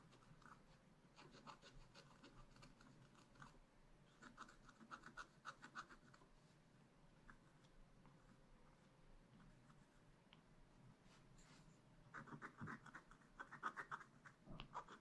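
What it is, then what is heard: Scratch-art paper being scratched. A wooden stylus scratches small details near a raccoon drawing on black wax-coated scratch-art paper in a spiral-bound pad. Quiet, dry, rapid scratching strokes come in short bursts separated by brief pauses, with a faint steady hum underneath. The strokes grow louder and denser toward the end.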